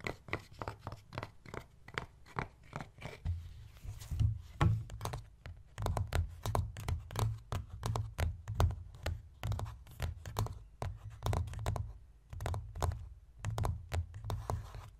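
Fingers and nails of both hands tap quickly on the screen of a Kindle e-reader in a red case with a dark cover flap, lying flat on a wooden chest. The taps come as a dense, uneven stream of short, dull knocks with a low, thumpy body and faint bright clicks from the nails, each dying away quickly.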